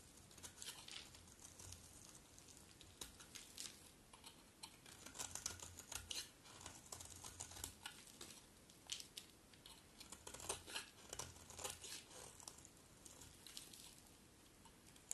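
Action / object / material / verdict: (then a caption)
scrape / bar of soap / soap / none. A metal utility blade carves and scrapes shavings off a round, solid bar of dry red-striped soap held in the hand. Quiet, dense, bright scraping and crisp crackling come in irregular bursts of short, sharp cuts, with a faint low hum underneath.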